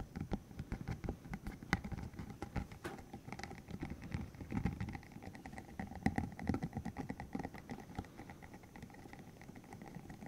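A green hollow silicone tube about 15 cm long with rubbery spikes is held in the hands while its spikes are flicked, squeezed and rubbed with the fingertips. The result is a quiet, rapid patter of soft rubbery ticks and taps, weighted toward low, muffled tones, with faint steady hums near 700 Hz and 2 kHz running underneath.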